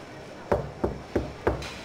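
Knocking on a section of car bodywork that has been cleverly repaired with body filler produces four short, dull thuds with almost no ring. The dead sound, unlike bare metal, gives away the filler under the paint.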